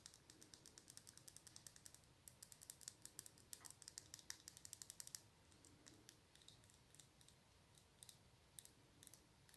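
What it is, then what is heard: Glass nail polish bottle tapped with nails. Long nails tap along a small, full glass nail polish bottle with an orange plastic cap and a barcode label. The result is a quiet, rapid series of bright, crisp clicks that die away almost instantly. The tapping grows denser and sharper in the middle before easing off.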